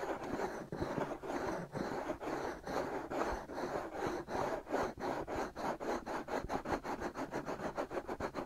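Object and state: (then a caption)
Fingernails scratching silicone microphone ears. Short fingernails scratch over the outer surfaces of the white, hand-sized, soft rubber silicone ears of a binaural microphone. The result is a close, dry, scratchy rasp centered in the mids, in rhythmic strokes that grow quicker and more evenly spaced toward the end.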